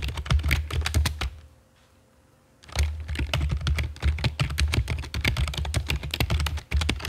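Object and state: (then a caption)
Plastic computer keyboard typing. Long fake nails and fingertips type on a full-size black plastic computer keyboard with a hollow body and keycaps, resting on a stone table. Rapid, chunky clacking taps carry a deep, hollow low thump under bright clicks. The typing stops for about a second near the middle, then resumes just as busily to the end.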